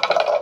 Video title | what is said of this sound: W650で日本一周その51「W650インナーチューブ交換、供回り問題にナイスアイテムで解消」 | 音は変わるんで どんどん と金属音があって一番そこまでついたらこれ で終わりです